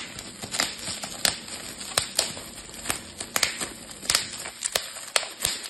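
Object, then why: Plastic bubble wrap sheet. A clear plastic bubble wrap sheet is twisted between fingers and thumbs, popping its bubbles. Sharp, bright pops come in an irregular string over a steady crinkly plastic rustle, with almost no low end and each pop cutting off instantly.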